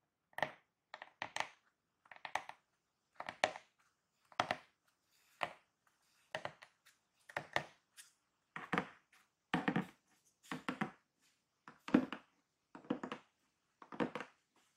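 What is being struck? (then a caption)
Corrugated cardboard box. Painted fingernails and fingertips tap and scratch along the top of a large, closed, hollow corrugated cardboard Amazon box that is taped shut with its contents not visible, then the hands hold the sides of the box. The result is a steady series of short, dry, broadband bursts of tapping and scratching in quick clusters with brief silences between, each fading almost instantly and staying fairly quiet.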